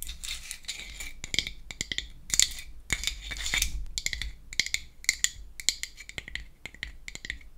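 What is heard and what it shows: Long acrylic nails tap and scratch the lid and sides of a small, round, hollow, pink-painted wooden toy foundation compact held open in the hand. Quick, dry, bright clicks mix with bursts of scratchy rasping, each tap dying away almost at once. The sound is light and high with little low end.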